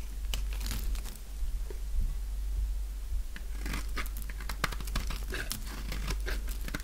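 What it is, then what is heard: Dry bar soap being scraped. A utility knife blade scrapes along the edge of a light-green dry bar of soap held in both hands, peeling off brittle layered flakes. Many short, dry crackles and crunches follow one another in quick, uneven bursts, some sharp and bright, over a low steady hum.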